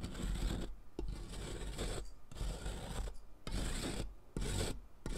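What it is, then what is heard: Chalk stick grated on a metal rasp. A solid blue sidewalk chalk stick, held with long nails, is rubbed down a metal mesh foot-file rasp over cardboard in repeated grating strokes. Each stroke is a gritty, rasping scrape with a heavy low rumble and a bright hiss on top, separated by brief pauses. Blue chalk powder collects as it is worn away.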